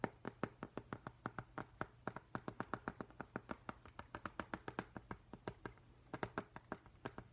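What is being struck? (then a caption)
Glass pane of a picture frame. Fingertips and nails tap repeatedly on the flat glass front of a framed octopus print held upright in a silver frame. A steady run of short, sharp, dry clicks sounds at an uneven rhythm, each dying away almost instantly. A faint low hum sits underneath.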